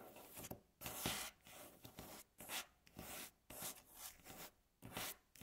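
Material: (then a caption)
Wood. Long natural fingernails slowly scratch and rub across a solid, light wooden tabletop. It makes a series of dry, bright, rasping strokes with short quiet gaps between them, and each stroke fades quickly.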